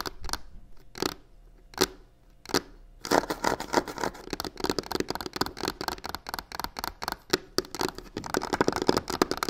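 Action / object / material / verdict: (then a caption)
scrape / box covered in textured faux leather / faux leather / none. Long fingernails on both hands scratch the corner of a hollow box covered in black crocodile-textured faux leather. A few separate rasping strokes come first, then a dense run of fast, bright, dry scratches with brief clicks across the ridged surface.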